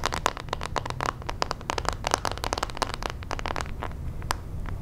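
Long nails and fingertips scratch and rub the handle and plastic bristles of a hand-sized pink plastic detangling hairbrush. The result is a rapid, dense stream of dry, crackly clicks and scrapes with bright edges and a faint tone near 1 kHz, over a steady low rumble.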